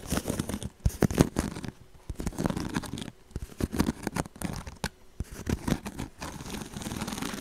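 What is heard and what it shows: Fingernails scratch along the woven edge of a hollow woven straw handbag held close to the mic. Dry, crackly bursts of scratching come in short runs separated by brief pauses, dotted with sharp clicks and a low, papery body.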